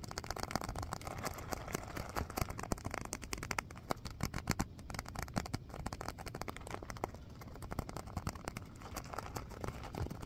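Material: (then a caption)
Vinyl. A small stitched purple faux-leather (vinyl) filled pouch, like a hacky sack, is held in both hands and scratched and tapped with fingernails. The result is a quiet, steady stream of rapid, dry crackling scratches and short, sharp taps over a soft low thump, with no ringing after each touch.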